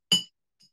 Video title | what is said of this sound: X is for Xylophone - COMPLETE Preschool/Pre-K/K5 - Session 4, DAY 100 | this jar had a lot of water in it the vibrations were slower so the sound was lower